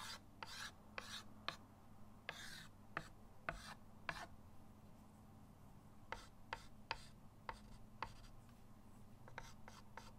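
A white chalk stick scratches lines and shading onto a flat, solid chalkboard in a wooden frame resting on a table. Short, bright, scratchy strokes and softer rubbing passes repeat at a quiet level over a steady low hum.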